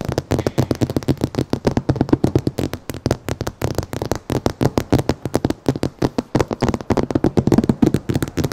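Long painted nails and fingertips of both hands tap and scratch across the large laminated glass windshield of a dark Lexus SUV, a solid pane mounted in the car body. A rapid, steady stream of short, dull taps with faint scratching runs throughout, each tap dying away almost instantly.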